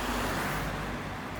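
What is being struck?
Nothing is struck.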